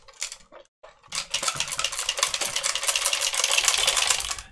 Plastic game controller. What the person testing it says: if we pick this up and we shake it you can hear that there is definitely something loose inside